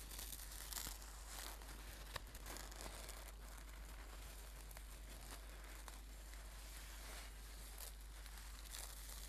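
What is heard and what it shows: Hands scrunch and rub a red and gold embroidered silk brocade singing bowl cushion. The result is a quiet, continuous crinkling and rustling with a few brighter scratchy bursts, all over a steady low hum.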